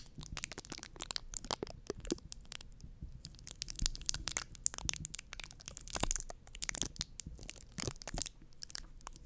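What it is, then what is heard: Foam microphone windscreen being scratched. Long nails on both hands scratch and rub a round white foam windscreen on a microphone. The result is a dense run of close, dry crackling and crunching scrapes, bright and crisp on top with a soft low rumble beneath, each touch stopping almost instantly.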